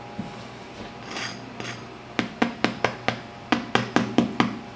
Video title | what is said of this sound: Chicago Deep Dish Pizza - Food Wishes - Chicago-Style Pizza | it should sound like this when you scrape it with a fork as well as have kind of a hollow sound if you tap on